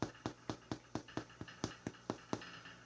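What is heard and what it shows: A freshly baked bread loaf, cooked on a baking stone, is flipped over and its bottom crust is tapped about a dozen times in a steady rhythm. Each tap gives a short, dull, hollow knock. The hollow sound shows the loaf is baked through and finished, and it is left to cool about 20 minutes before cutting.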